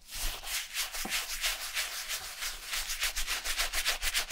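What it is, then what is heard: Leather shoe being scrubbed. A wooden-handled bristle brush is worked by hand over the foam-covered upper of a vintage black leather Camper shoe coated in shampoo lather. Quick, steady back-and-forth strokes, about three to four per second, make a bright, hissy wet scrubbing sound with little low end.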